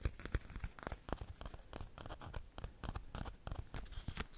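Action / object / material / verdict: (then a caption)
scrape / wooden pin hairbrush / wood / none. Fingertips and nails scratch and flick across the rows of wooden pin bristles on a small handheld hairbrush with a leopard-print body, held close to the microphone. The result is a quick, irregular run of short, dry, crackling scratches and ticks with brief bright edges and a soft low thump from the close handling, with no ring between strokes.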